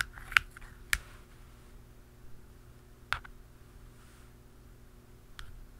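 Pen tips, one dark and one blue, tap the black plastic lid and top of a hollow round canister. Four sharp, dry clicks ring briefly around 1.5 kHz, with bright edges and softer taps between them. A faint, steady low hum sits underneath.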